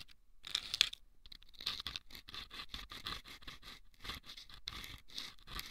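Wooden toothpicks scrape the sandpaper inside two small hollow rolled sandpaper tubes fitted over the ears of a microphone. The result is a series of quiet, bright, gritty scratching strokes, mostly high-pitched with very little low end, each stopping dead with no ring.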